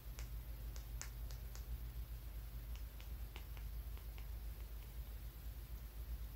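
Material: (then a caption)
Stone. A small, solid, dark, flat, angular stone held in the fingers is tapped with a fingertip and nail. It makes quick, dry, clicky ticks at an uneven pace. The ticks die away almost instantly over a steady low hum.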